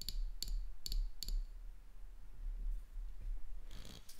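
Long dark-painted nails tap and click on the body of a small 330 ml amber glass bottle with a metal screw cap and a white printed label, apparently filled with liquid and held in one hand. Quick bright clicks come in close pairs early on, followed by a softer, hissy brushing toward the end, all over a faint low rumble.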